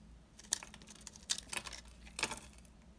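A solid, embossed green soap bar, dry and old, is held in the hand and scraped with a yellow-handled utility knife blade. Crisp, bright scraping and crackling comes in short bursts, with sharper snaps standing out over a faint low background hum.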